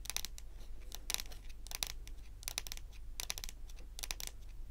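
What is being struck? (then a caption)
Wooden table top. Very long, pointed acrylic nails on both hands tap rapidly on a large, solid, glossy dark brown wooden table top. The result is bursts of sharp, bright, dry clicks with almost no ring, arriving in quick clusters over a steady low hum.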